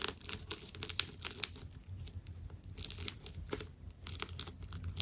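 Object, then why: Ball of wound plastic tape. A small metal blade slices the outer layers off a fist-sized solid ball of white and purple wound plastic tape. The result is a dense run of sharp, bright tearing and crinkling crackles over a faint low rumble.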